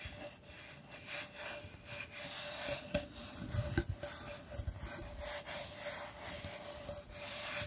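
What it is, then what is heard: Plywood star. Fingertips and long nails rub and scratch the surface of a flat, solid plywood star held upright close to the mic. The result is a steady, dry rasping scrape with bright, airy texture, a few slightly sharper scratches standing out around the middle.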